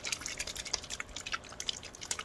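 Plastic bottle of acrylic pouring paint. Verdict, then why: Runny. A bottle of Magic fly acrylic pouring paint is shaken, giving a quick run of bright, wet sloshing splashes with almost no low end. The audible sloshing shows the paint is very runny, much runnier than regular acrylic paint.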